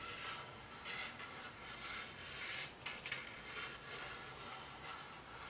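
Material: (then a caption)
Plastic. A glowing, hollow, color-changing frosted-plastic cylindrical lamp with a dark base is held in the hands and rubbed and scratched with fingertips and nails. The result is a steady, bright, hissy scraping texture with a few sharper ticks near the middle.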